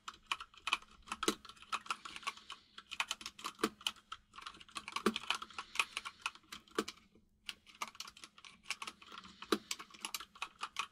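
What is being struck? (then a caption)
Mechanical keyboard with plastic keycaps. A compact mechanical keyboard with white and grey plastic keycaps is typed on quickly with the fingertips of both hands. The result is a dense run of sharp, bright plastic key clicks with short pauses between bursts. The clicks have a faint low thud underneath and almost no ring.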